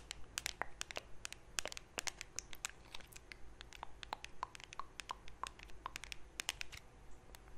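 Long nails scratch and tap over the lid of a small, round, blue metal Nivea cream tin, which is closed and held up. Quick, sharp, bright clicks and scrapes come in an irregular stream with almost no ring. They sit over a quiet, steady low hum.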